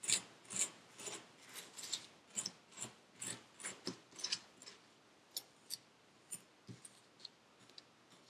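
A metal needle tool scrapes and digs into purple kinetic sand packed into a paper cup. It makes a series of short, bright, crunchy scrapes at an uneven pace, busier at first and sparser toward the end, with almost no low end.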